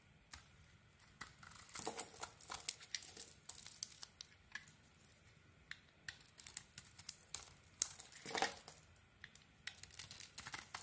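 A metal blade scrapes and shaves crumbly flakes off a solid mauve bar of soap with a cream core, held in the hand. It makes quiet, dry, bright crackling and scratchy rasps in many short strokes, with brief pauses between bursts.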